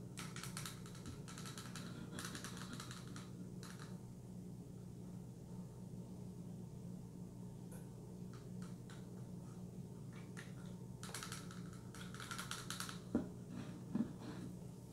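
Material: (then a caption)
Plastic. Long nails tap on a full Spring Valley turmeric curcumin bottle, a hollow plastic bottle with a label. Quick bright clicking arrives in irregular clusters over a steady low hum, with two sharper taps near the end.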